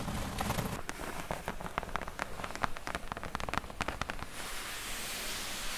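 Long nails scratch and tap quickly across the flat top of a closed, hollow corrugated cardboard box, making a run of sharp, dry clicks over a scratchy rustle with a low hollow thud underneath. The tapping stops after about four seconds, leaving a steady soft hiss of scratching to the end.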